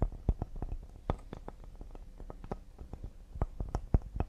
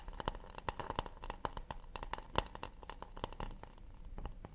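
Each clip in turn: First: Rapid, uneven fingertip taps on a cedar serving board give short, soft, dull knocks with almost no ring. Second: Quick, light fingertip taps and scratches on a wooden plate, each click dry and short with a faint woody tone.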